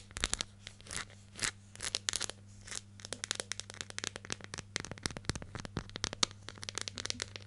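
Long nails scratch and tap the lid and label of a hollow yellow plastic hair gel jar with a lid, held close. The result is a quiet, dense run of crisp, bright clicks and scratchy rasps, slower and spaced at first, then quicker and tighter, over a faint steady low hum.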